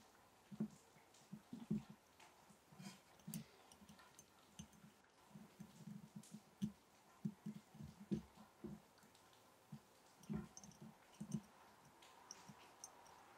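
A glass mason jar holding match sticks is gently tapped in an irregular series of soft, quick taps. Each tap gives a short, dull knock centered near 220 Hz with a brief bright click on top, dying away almost at once against a faint background hiss.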